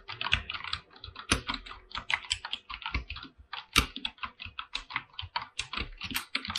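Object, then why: Mechanical keyboard, PBT plastic keycaps on aluminium plate. Fingertips type rapidly on a full-size mechanical keyboard with white and blue PBT plastic keycaps on an aluminum plate. The result is a quick, uneven stream of crisp, bright clacks that stop short, with a few louder strokes adding a deeper thud underneath.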